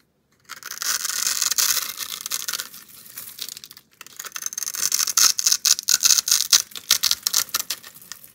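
An oval, solid orange bar of soap with an embossed logo and a scored grid surface is held in one hand with long nails while a box-cutter blade scrapes and cuts across it, shaving off small crumbly cubes. After a short silence, a dense, bright, gritty scraping runs with almost no low end, pauses briefly near the middle, then returns as sharper, rhythmic slicing strokes.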